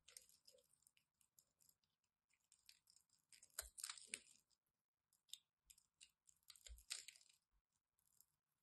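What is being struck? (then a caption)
Bar of soap. A solid blue and white striped bar of soap is held in the hand and scraped and cut with a craft knife. Quiet, bright, crisp scraping and crunching come in short bursts with brief pauses, plus a few louder cutting strokes with a soft low thud.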